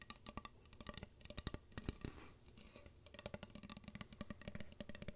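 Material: Wood.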